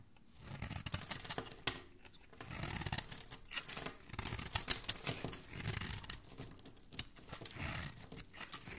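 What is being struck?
Soap bar scraped with a metal blade.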